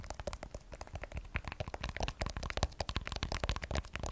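Long nails tap rapidly on the matte glass back of an iPhone 12 Pro, with its Apple logo and steel frame, while it is held sideways in both hands. The result is a fast, continuous stream of dry, clicky taps, each with a low thump and a bright tick that stops almost instantly.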